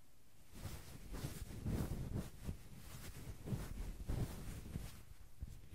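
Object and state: Nothing is struck.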